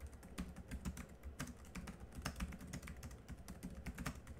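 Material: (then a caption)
Plastic. Continuous two-handed fingertip typing on the black plastic chiclet keys of a small laptop keyboard. A rapid, steady stream of soft, dull key taps with a low thudding body and brief bright clicks that die away almost at once.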